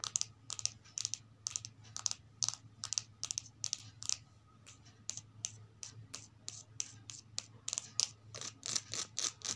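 Long red and blue acrylic nails rapidly tap and scratch the glossy card back cover of a thin softcover children's picture book, "House for Sale," resting on top of a stack of books. Many sharp, bright clicks fall in an uneven, quick rhythm, with brief scratchy strokes between them and no ringing after each hit.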